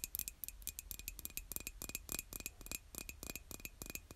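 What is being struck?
Glazed ceramic mug tapped with fingernails.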